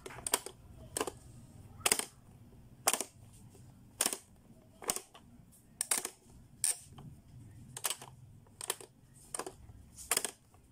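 Fingertips push the plastic switches on a blue, hollow, hard-plastic Playskool pop-up learning toy, and its doors spring up and are pressed closed again. The result is a steady series of sharp, bright plastic clicks and snaps that die away almost instantly, with a faint low rumble between them.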